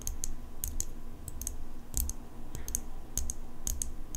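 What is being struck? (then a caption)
Steel folding pocket knife blade. Long pink nails tap repeatedly on the steel blade of an open metal folding pocket knife. Each tap is a short, bright, metallic tick that dies away quickly, over a steady low rumble.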